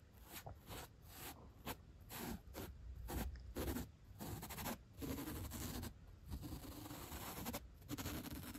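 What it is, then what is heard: Foam block scratched with a brush. The black bristle tip of a bottle brush scratches and flicks along the top and edge of a thick white upholstery foam block resting on a rug. Repeated soft, raspy brushing strokes come in short bursts with brief gaps, carrying a bright airy hiss over a muffled low rustle.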